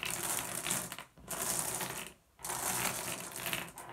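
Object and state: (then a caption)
Glass gem pebbles. Both hands spread and rub over a pile of small, solid blue glass gem pebbles resting on wood, producing dense, bright clinking and rattling. The sound comes in three sustained bursts separated by two brief pauses.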